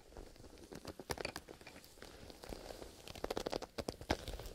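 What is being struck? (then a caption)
Leather zipper pencil case. A black leather zipper pencil case, soft and hollow, is held upright in both hands while fingertips in fingerless gloves scratch and tap its leather surface. The result is a run of short, dry, crunchy taps and scratches over a faint hiss, each with a bright edge that dies away almost at once.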